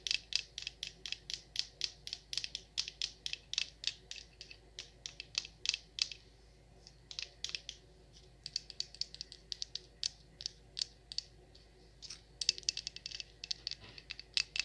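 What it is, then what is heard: Wax pillar candle tapped with nails. Long acrylic nails tap and scratch the sides of a large, solid yellow-orange wax pillar candle with a cord and tag. The result is a quiet, rapid series of short, bright clicks with almost no low end and very little ring, broken by brief lulls where only faint scratching is heard.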